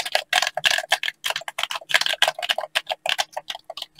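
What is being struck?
Plastic game controller.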